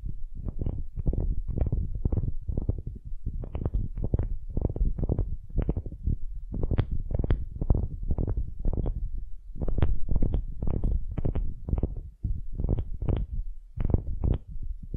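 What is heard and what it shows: Long nails scratch the end grain face of a solid, light wooden cube in quick, repeated strokes. The result is a steady run of short, low, rumbling scrapes with brief bright edges and no speech.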